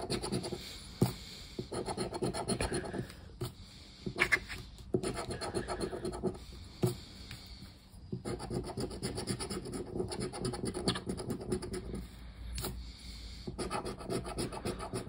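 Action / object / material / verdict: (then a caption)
scrape / cardboard scratch card scraped with a plastic disc / cardboard / none. A hand scratches the silver latex coating off a thin, flat cardboard "Super Pé-de-Meia" scratch-off lottery ticket lying on a wooden table, using the edge of a black round plastic scraper disc. Dense, raspy scraping strokes come in bursts separated by short pauses, with occasional sharp taps and clicks standing out above the gritty rubbing.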